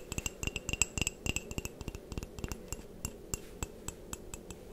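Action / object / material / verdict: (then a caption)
tap / ceramic mug / ceramic / none. Long painted nails tap and scratch a white, patterned ceramic mug that is hollow and appears empty. About 25 quick, irregular clicks sound over a low, steady rumble, each with a bright, glassy ping that dies almost at once. Soft scratching fills the gaps between the taps.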